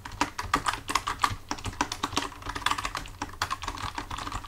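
Both hands type with their fingertips on a full-size black plastic computer keyboard resting on a desk. A quick, uneven run of crisp plastic key taps clatters on, each click sharp with a bright edge and a midrange knock that dies away almost instantly. A faint low rumble sits underneath.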